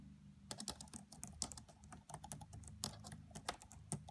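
Both hands type with their fingertips and long French-manicured nails on the black plastic chiclet keys of a red laptop with a hollow body. The result is a quiet, steady stream of light, bright tapping clicks that stop quickly, over a faint low hum.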